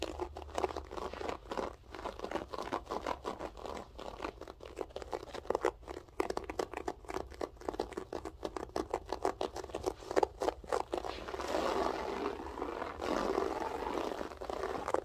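Long acrylic nails on both hands claw and scratch the textured loop pile of a flat beige loop-pile floor carpet. Dense, rapid scratching strokes give a dry, crackly midrange rasp. Near the end they blur into a steadier, rougher scraping.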